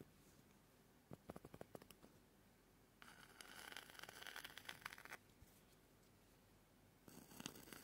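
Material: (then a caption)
Pumice. A white plastic spoon scratches across the rough, porous face of a small oval green-white pumice foot scrubber. First comes a quick series of sharp ticks, then a sustained, bright gritty scrape. After a quiet pause, a shorter scrape begins near the end.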